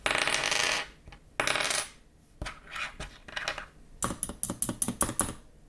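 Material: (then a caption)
Metal. Metal keyboard keycaps with MX-compatible stems are clinked and rattled together, giving bright, coin-like metallic jingles with short ringing tones. The clinking ends in a quick run of sharp separate clicks, and the keycaps sound like real metal.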